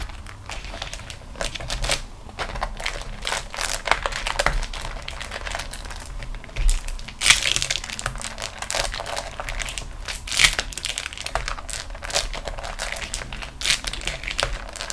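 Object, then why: Waxed cotton food wrap. A rolled-up beeswax-coated cotton food wrap is rolled and pressed with both hands and fingertips, with long nails touching it. It makes continuous bright, sticky crinkling and crackling, with a few sharper, louder crackles standing out, over a faint low rumble.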